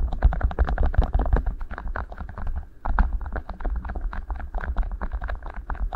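Two matching beeswax-coated cotton food wraps, rolled into hollow tubes over the microphone capsules, are squeezed and rubbed with fingertips. The result is a dense run of waxy crinkles and crackles over a heavy low, muffled rumble, with a short lull near the middle before the rubbing picks up again.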